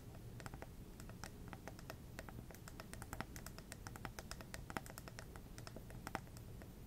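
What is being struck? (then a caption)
Glass plasma ball globe. Long red nails tap quickly on the hollow glass globe of a small lit plasma ball resting on a black base. Rapid, light, clicky taps with bright, very short ticks sound over a steady low hum, with no ringing between strikes.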